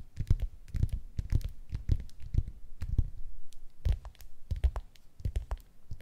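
Long acrylic nails tap and scratch the textured peel of a whole, unpeeled tangerine resting on a wooden surface. A rapid, irregular run of soft, dull, low thumps is heard, each dying away almost instantly, with faint, bright scratchy clicks layered over them.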